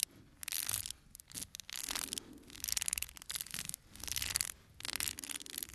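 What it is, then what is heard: Cardboard playing card box. A small, full cardboard playing card box is held in one hand while fingertips and nails rub and scratch its printed cardboard face. Bursts of dry, bright, hissy scratching come and go with short quiet gaps, with almost no low end and no ringing after each stroke.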